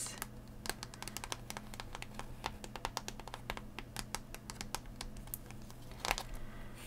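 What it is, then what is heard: Plastic blister pack tapped and scratched. A hollow plastic blister pack on a cardboard backing is held tilted in one hand while the other hand's fingernails tap and scratch the plastic. Quick, dry clicks with bright crinkly edges follow one another closely over a steady low hum. A louder cluster of taps comes near the end.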